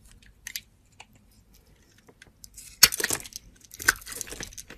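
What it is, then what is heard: Soap bar being carved. A hand with long teal nails scrapes a metal box-cutter blade across a solid brown soap bar, shaving it into curls. Quiet, scattered scratches give way to louder, bright, crisp crackling bursts that dry off quickly.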